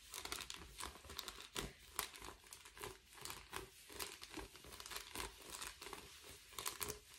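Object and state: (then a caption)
Foil bubble mailer. Lace-gloved fingertips and nails scratch and crinkle the bubbled surface of a flat, thin, empty blue metallic foil bubble padded envelope held upright. The result is a steady run of bright, crisp crinkling and scratching bursts, with sharp louder crackles scattered throughout and very little low end.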